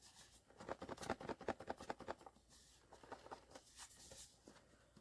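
A sealed cardboard blind box holding a vinyl figure, the Awe from the Skullpanda The Sound series by POP MART, is shaken. It gives a burst of quick, dry rattling taps as the figure knocks about inside, followed by softer, scattered rattles. The box turns out to contain the Awe figure.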